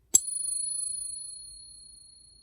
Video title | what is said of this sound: Is Junk Silver Still Good to Buy? BIG Silver and little gold Purchased | This is how long it should resonate and how different it sounds.